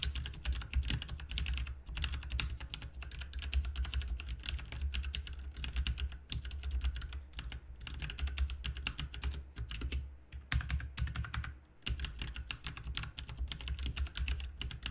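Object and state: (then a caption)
Plastic mechanical keyboard. Fast two-handed fingertip typing on a backlit RGB mechanical keyboard with plastic keycaps, producing a dense stream of short, crisp clicks and clacks over a low, steady hum. The typing runs nearly continuously, with brief pauses around the two- and eleven-second marks.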